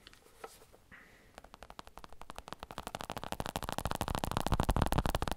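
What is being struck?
Padded elbow support with smooth synthetic surface.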